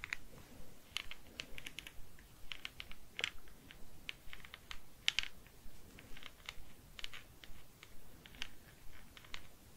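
A small, hard plastic Star Wars figure of The Armorer from The Mandalorian, about 15 cm tall, mostly solid with articulated joints, is held in one hand with long painted nails. A pen-like tool with a metal tip taps and traces along its legs and body while fingers handle it. The result is a quiet series of rapid, bright, clicky plastic taps with very short decay, centered around 3 kHz.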